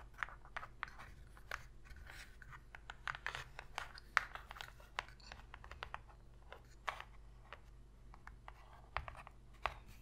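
Long pink fingernails scratch across the inner surface of an empty, shallow white cardboard box lid. Quiet, dry scratching strokes come with many short, crisp ticks and taps. The ticks stop instantly over a steady low hum.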